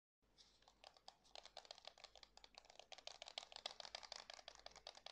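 A white and black plastic PS5 DualSense controller, hand-sized with a hollow shell, is held in both hands while fingertips click its buttons and tap its plastic surface. The result is a quiet, rapid, irregular stream of short, dry, bright clicks and taps with almost no low end.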